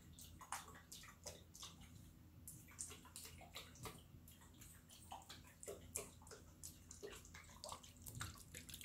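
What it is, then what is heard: Glass jar partly filled with water. A small clear glass jar with a green lid, partly filled with water, is held by the fingertips and shaken close up. Water sloshes and splashes inside in quick, bright bursts over a steady low hum.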